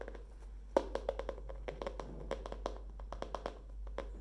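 Long fingernails tap the cardboard cover and page edges of a tilted hardcover spiral notebook with a wire spiral. The result is a quick, uneven run of about twenty short, dry clicks with a mid-pitched knock around 540 Hz. Each click dies almost instantly over a faint, steady low hum.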